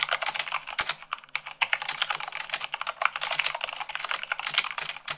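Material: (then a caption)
Plastic. Fingertips and long nails type rapidly on the keycaps of a white plastic mechanical keyboard, at about 98 words per minute. The result is a dense, steady stream of short, bright clicks and clacks with almost no low end and no ring after each stroke.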